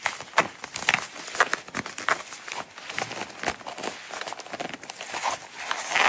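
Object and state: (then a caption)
Coated canvas wallet. Long acrylic nails scratch and tap the front flap of a small, closed, brown coated-canvas Coach wallet with a star print and a metal logo, lying on a mat. The result is a steady run of sharp, bright clicks mixed with dry, papery scratching, with almost no low end. Each tap dies away almost instantly.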